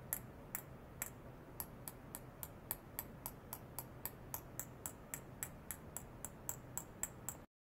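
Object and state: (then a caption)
Glass bottle. A small empty clear glass bottle lying on its side on a white cloth, with a sensor probe clipped to it, is tapped about 25 times with a thin stick in a rapid, uneven series of light taps. Each tap is a short, bright, high glassy tick that dies away almost at once, over a steady low background hum.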